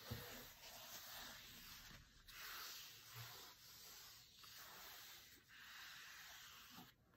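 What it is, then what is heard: Cloth-covered hardcover book. Short-nailed fingertips tap and trace across the grey linen cloth cover of a large, thick, closed hardcover cookbook with a glossy food photo, lying flat on a marble table. A soft tap opens the clip, followed by repeated quiet, hissy rubbing strokes with a bright, papery scratch as the fingertips sweep back and forth over the cloth.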